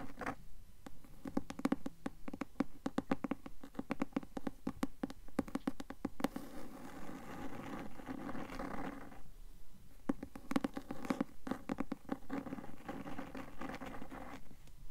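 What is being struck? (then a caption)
Cloth-covered hardcover book. Long nails tap and scratch the cloth cover of a closed, medium-sized, solid blue cloth-covered hardcover book held upright. Quick, dry taps with a dull low-mid body fall in an irregular stream, broken by stretches of continuous scratchy rubbing. Each tap dies away almost instantly.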